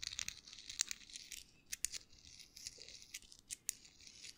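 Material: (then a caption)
Paper. A small folded US dollar bill of thin paper is crinkled and twisted between fingertips close to the microphone. It makes a quiet, dry, bright crinkling with repeated short, sharp crackles and almost no low end.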